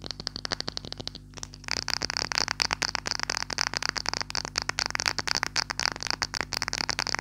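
Purple-painted fingernails rapidly tap and scratch a small clear glass perfume bottle with a silver metal cap and some liquid inside, held in both hands close to the microphone. About 35 quick, bright clicks with a high glassy edge and very little ring come in a dense stream, with a short quieter pause early on when the bottle is briefly lifted and moved.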